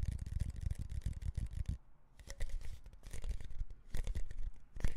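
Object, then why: Composite cardboard tube can with plastic lid and metal base. Rapid fingertip taps and nail scratches on the side and lid of a red Pringles can, a hand-sized, hollow composite cardboard tube with a foil lining, plastic lid and metal base, apparently with chips inside, held in the hands. Dull, low thuds come in quick bursts mixed with scratchy brushing, with a short pause near the middle.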